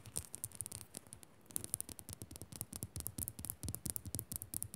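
A rock salt lamp is fast-scratched and tapped with the fingers, producing a rapid, uneven stream of short, dry taps and scratchy clicks. Each tap combines a soft low thump with a bright, crisp tick that dies away instantly. The sound is quiet overall, with a brief lull about a second in before the tapping resumes.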